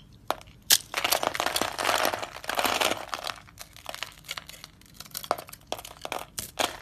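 A utility knife blade scrapes and crunches cubes off a white, solid, hand-sized dry soap bar scored in a grid. A few sharp cracks lead into a dense, bright crackling crunch, which then thins into scattered crisp snaps and short scraping crunches.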